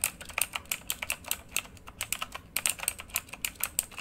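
Fingertips of both hands type quickly on a full-size plastic mechanical keyboard with RGB-lit keycaps. About 26 sharp, bright key clicks come in fast, uneven bursts, each dying away almost instantly with very little low end.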